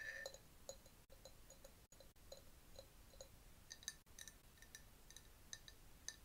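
A clear glass jar, partly filled with yellowish liquid and holding a bamboo straw, is tapped with long nails. Quick, light clinks and ticks with a bright, glassy ring that dies away almost at once repeat at an uneven pace over a faint hiss, broken by a few brief silent gaps.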